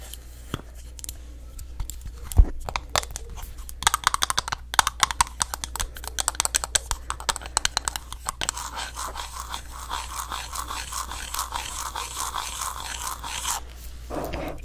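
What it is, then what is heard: Glass candle jar with wooden lid tapped with nails. Long nails tap on the side of a green glass candle jar, then on its wooden lid, making a run of sharp, bright clicks that turns into a denser, rapid scratchy tapping. A steady low hum sits underneath throughout.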